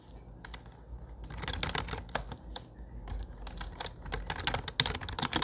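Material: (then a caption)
Plastic. Fingertips type rapidly on a low-profile plastic computer keyboard with dark grey plastic keycaps and a grey frame. The sound is a quick run of short, bright, dry clicks over a low background hum, with a few sharper taps standing out.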